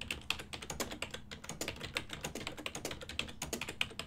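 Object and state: Plastic computer keyboard.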